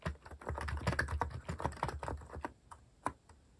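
Fingertips type on a compact, white-cased mechanical keyboard with plastic cat-themed keycaps, pressing about sixteen keys at a slow, uneven pace with pauses. Each keystroke is a short, dull click with a deep, low-weighted body and a quick decay. The typing thins out into sparser, quieter strokes toward the end.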